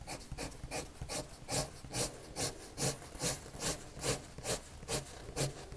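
A red colored pencil rubs back-and-forth strokes across a white paper sheet lying flat. Each stroke is a soft, scratchy swish with bright, high grain. The strokes come in a steady, fairly regular rhythm of a little over two per second.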